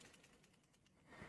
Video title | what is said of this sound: What is a CAS Card Design? | you can hear the ball wrapping around inside